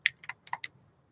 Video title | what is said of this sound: iStencils Sale Coupon Code JOAN25 - Last Day! | Now it's loosened up and I can shake it.